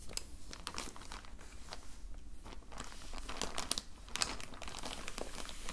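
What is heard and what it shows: A clear plastic zip-lock bag holding colored pencils, lying on a blue towel, is crinkled and rubbed with the fingertips of both hands. Steady bright crinkling and crackling runs throughout, with sharper crisp snaps standing out over a low, constant rumble beneath.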